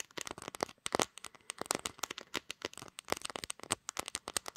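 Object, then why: Smartphone with glass back and metal frame. Long dark-green acrylic nails rapidly tap and scratch the glass back and camera area of a pink gradient smartphone with a metal frame, held in both hands while it records. The result is a quick, uneven run of dry, bright clicks and scrapes with almost no low end and no ring after each hit.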